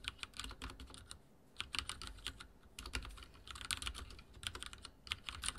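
Fingertips type rapidly on a backlit mechanical keyboard with dark plastic keycaps and a silver frame. Bursts of crisp, bright key clicks with short pauses between them, each click stopping almost instantly over a faint low thump.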